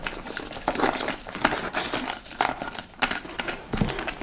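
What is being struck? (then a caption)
Leather handbag. A large, hollow dark-brown leather (likely faux) tote bag with ruffled sides is held up while fingernails scratch across its front flap. The result is a run of dry, crinkly scraping bursts with bright, hissy edges and little low end, rising and falling in short strokes.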